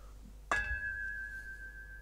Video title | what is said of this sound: How Much to Fill Up HiFi Speaker Stands - Filling in the Gaps Guide Advice | listen to just how long that rings for that's like three seconds or more so that is not good for sound